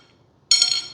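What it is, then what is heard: Genuine carbon fiber tube. A thick-walled carbon fiber tube from an Arrows F-15 Eagle twin 64mm model kit is tapped, giving a bright, metallic, high-pitched ring that fades within a fraction of a second. The metallic tone marks it as real, sturdy carbon fiber rather than plastic, which would give a dull thud.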